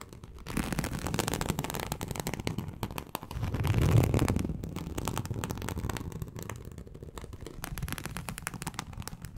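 Long acrylic nails scratch across a large, flat teal snakeskin-embossed leather sheet, making a dense, continuous crackling scrape with a low, rumbly body. The scratching swells louder around the middle, then settles back into a steady rasp until the end.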